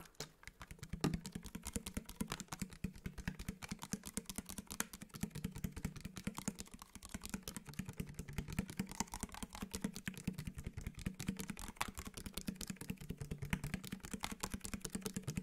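Fingertips and nails rapidly tap a clear, round plastic spray bottle with a white trigger sprayer, held in the hand, hollow and partly filled with liquid. The quick, steady taps run throughout, each a short, dry click over a hollow low tone with a touch of bright tick on top, fading almost instantly.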